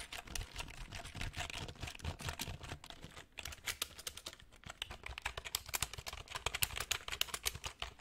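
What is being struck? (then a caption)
Plastic computer keyboard. Fingertips type on the plastic keys of a black plastic full-size computer keyboard held in front of the mic. The result is a quick, irregular run of short, dry, bright clicks and taps with almost no ring, plus some soft low thumps underneath.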